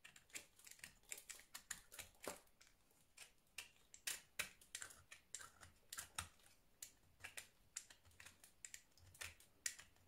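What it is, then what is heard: Soap bar being scored with a blade. A solid orange round soap bar held in the hand is scored and carved with a blue utility knife blade, and the scratching cuts shed soap powder. A quick, irregular series of short, crisp, bright scraping clicks is heard at a low level, with little low end. Each cut stops dead, leaving no ring.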